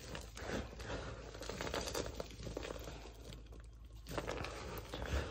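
Both hands and fingertips scoop, press and crush a pile of dry, crunchy pink-purple soap scraps on a wooden floor. The result is a dense, continuous crunching and crinkling with a low, heavy body and bright crackly grit on top. The sound eases briefly near the middle and ends with a firmer squeeze.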